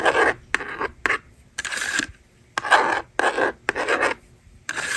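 A yellow plastic stylus scratches numbers onto a handheld plastic toy magnetic drawing board, and the slider is used to erase it. Short bursts of dry, raspy scraping come with brief silent pauses between them. The sound is mid-to-high and bright, with no low end.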